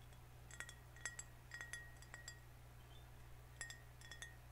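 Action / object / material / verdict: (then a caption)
tap / glass soda bottle / glass / none. A closed, liquid-filled, vintage-style green glass soda bottle with a paper label is held in both hands and tapped with fingernails on the glass and the label. The taps make quiet, scattered clinks with a short, bright ring around 1.9 kHz, heard over a steady low hum.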